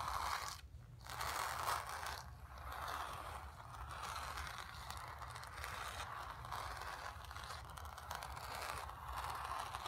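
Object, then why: Painted stretched canvas. Long nails scratch across the surface of a painted, stretched canvas. The result is a steady, dry scratching and rustling, centered in the midrange around 1 kHz with some high hiss, broken by brief dips near one and two seconds.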